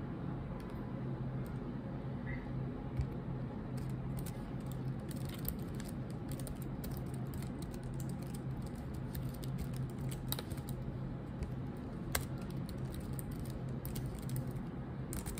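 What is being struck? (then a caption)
Plastic laptop keyboard. Long nails and fingertips tap the black plastic keycaps of a laptop keyboard in steady typing. The result is a continuous patter of soft, short clicks with occasional brighter, sharper taps, all over a constant low hum.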